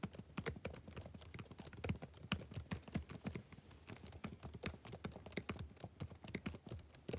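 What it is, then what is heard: Laptop keyboard typing. Fingertips type on the black plastic keys of a backlit laptop keyboard. The result is a fast, steady run of short, dry clicks, each with a soft low thud and a bright tick that stops almost at once.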